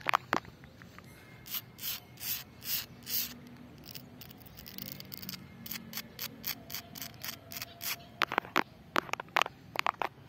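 Long clear-and-purple acrylic nails rub and scratch across a large, solid, rough, speckled concrete or stone pavement slab with a crack, outdoors. Soft, airy, bright rasping strokes swell and fade in a steady rhythm, then turn quieter and grittier before ending in a run of sharp, dry scratches and clicks.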